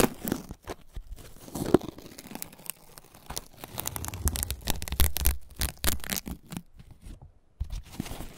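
Fingers pull back and tear the thin, pale green husk layers from a single fresh ear of corn, rubbing its fibrous surface. Close, dry tearing and crinkling rasps come in a rapid string of short, bright bursts over a low rumble.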